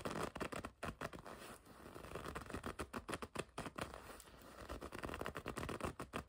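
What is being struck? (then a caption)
Leather jacket. Long red nails scratch and scrape across the smooth front of a black and red leather racing jacket. The result is a dense run of short, dry rubbing and scratching bursts, mostly low and mid in tone with little brightness, with a couple of slower, steadier scraping passes in between.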